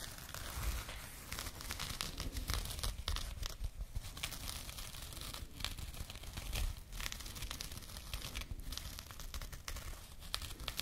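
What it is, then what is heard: Burlap pouch being scratched. A small jute burlap bag is scratched and rubbed with fingernails close to the microphone. It makes a continuous dry, scratchy rustle with rough, tearing-like bursts of coarse fibre texture.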